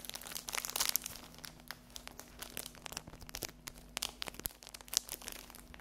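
A small rectangular pack of paper napkins printed with a 100 euro note and sealed in thin cellophane is held, then laid on a table, and scratched and tapped with long acrylic fingernails. The wrap gives off bright, crisp crinkling and rapid, clicky taps that die away instantly, over a faint steady low hum.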